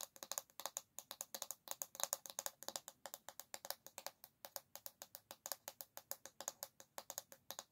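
Long nails tap and scratch the smooth, solid bamboo back of an oval paddle hairbrush held by its handle. About 52 quick, dry, bright clicks come in an uneven run with scratchy brushes between them. The sound is quiet with almost no low end, and each tap dies away almost at once.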